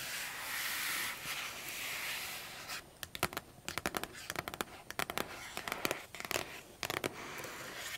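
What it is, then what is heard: Cardboard box. Long acrylic nails scratch across the lid of a large, flat, printed cardboard keyboard box that is closed, making a steady, bright, hissing scrape for the first few seconds. They then tap the lid in a quick, uneven run of sharp, crisp clicks that stop dead with almost no ring.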